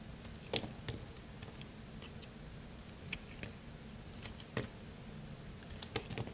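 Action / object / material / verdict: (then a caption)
scrape / bar of soap cut with a blade / soap / none. A craft-knife blade held in one hand slices into a solid, dry, partly carved blue bar of soap. Short, crisp crunches and bright clicks come at an irregular pace over a quiet, low background hum.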